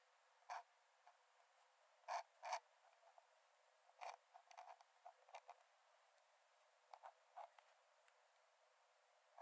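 A metal nib in a wooden dip-pen holder scratches short strokes onto the cream paper page of an open sketchbook lying flat on a dark desk while drawing. Quiet, dry, scratchy bursts come at irregular intervals, with no low end and a midrange tone near 900 Hz. Each stroke stops almost instantly, with brief clustered scribbles between longer pauses.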